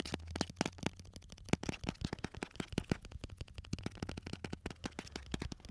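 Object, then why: Small clear jar with a lid, full of round sweets. Fingertips and nails tap quickly on a small clear jar with a lid, full of round orange and red sweets and held close to the microphones. Dozens of short, dry, sharp taps rattle in fast irregular bursts, each dying away almost instantly, over a steady low hum.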